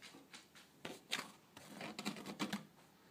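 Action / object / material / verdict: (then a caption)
scrape / woven wicker tray / wicker / none. Long blue nails tap and scratch along the weave of a flat woven wicker (rattan) tray with both hands. The result is a quick, irregular series of dry, crisp clicks and scrapy rustles that stop almost instantly.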